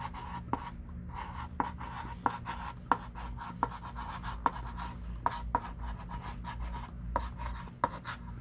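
A thick stick of pink chalk is used to write on a small wooden-framed chalkboard lying flat, making soft scratchy strokes. Sharp, clicky taps around 950 Hz stand out at irregular intervals over a low, steady hum.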